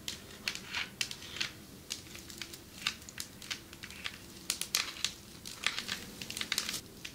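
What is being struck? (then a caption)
Marble table top tapped with fingernails. Long metallic nails tap on a marble table top in a quick, irregular run. The taps are sharp, crisp and bright, with almost no ring after each one and little low-end weight.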